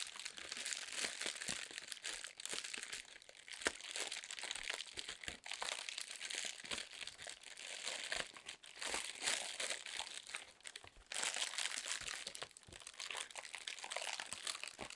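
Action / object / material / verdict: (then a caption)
scrape / inflated plastic air-pillow packing film / plastic film / none. A sheet of inflated clear plastic air-pillow packing film, held in both hands with long nails, is squeezed and crinkled. The result is a steady, dense stream of bright, crisp crackling and rustling that runs throughout, with only brief dips in loudness and almost no low end.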